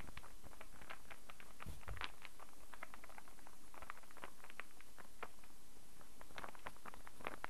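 A small hand-held interlocking star puzzle of light, unfinished solid wood is held in both hands and tapped and scratched with long fingernails. Quick, light, bright clicks and ticks patter irregularly throughout, with soft scratching in between, over a steady low background hum at a quiet, even level.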